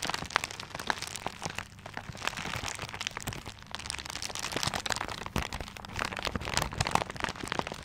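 A paper-wrapped gift is held in both hands, then in one hand, while fingers scratch and rub the paper. The result is a steady, dense stream of crisp crinkling and crackling with bright scratchy textures and short sharp snaps scattered throughout.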